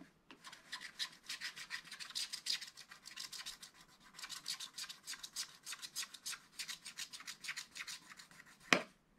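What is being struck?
Scratch art paper card scratched with a wooden stylus.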